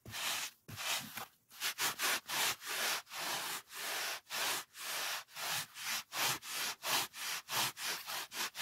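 A large white polyethylene foam sheet used for packing lies on a wooden table and is rubbed with the fingertips and palm. It makes a run of bright, hissy, squeaky rubbing strokes with a light, thin scratchy edge and almost no low end. The strokes come faster and shorter toward the end.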